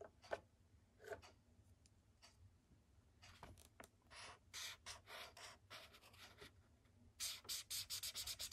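A thick blue felt-tip marker, held in a fist, scrubs colour onto a white paper sketchbook page resting on a wooden desk. Bright, scratchy rubbing strokes come in irregular bursts over a faint low hum, growing quicker and denser toward the end.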